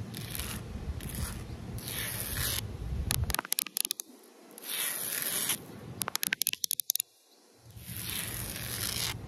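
A hand shaped like a claw drags long nails across the rough surface of flat, solid outdoor concrete pavement, making bright, gritty scraping strokes with a low rumble underneath. Between the strokes come quick runs of sharp, crisp clicks before the scraping starts again.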